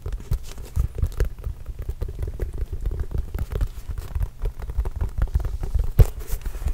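A Spalding autographed leather basketball, hollow and inflated, is tapped and scratched with fingertips. The result is a quick, steady patter of soft, deep thuds mixed with faint scratchy crackle, with one sharper, louder tap near the end.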